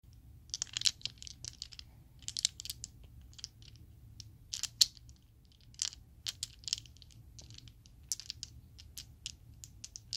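A set of small solid purple Chessex acrylic polyhedral dice is held in the palm, with long nails, and shaken and clacked together. Bright, sharp plastic clicks and rattles come in quick bursts that die away almost at once. A faint low hum runs steadily underneath.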